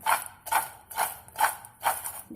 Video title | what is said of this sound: बच्चो के लिए क्रिस्पी क्रंची मैक्रोनी कुरकुरे- Crispy Crunchy Macroni Kurkure for Children | इसकी आवाज़ सुनिए कितनी कुरकुरी है